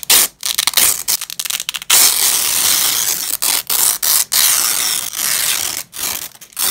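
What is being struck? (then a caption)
Nylon hook-and-loop strap. Black-gloved hands peel apart the fastened layers of a purple nylon hook-and-loop (Velcro) strap resting on a grey cloth. Bright, crackling rips come in short bursts and longer drawn-out tears, the longest lasting over a second, with brief silences between pulls. The sound is almost entirely high-pitched with no low end.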